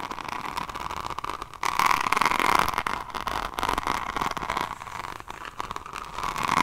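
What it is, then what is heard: Hardcover notebook edge scratched and tapped with nails. A hardcover diamond painting notebook, held sideways, has its page edges and spine scratched and tapped with long nails. The result is a steady, crackly scratching texture with a hiss centered around 1 kHz and frequent quick taps. The sound gets louder and denser in the middle of the clip.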